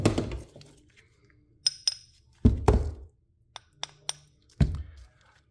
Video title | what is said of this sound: Let's smash stuff! - Everyday Concrete VS Concrete Concrete Grey Matter | you can really hear the bounce back on this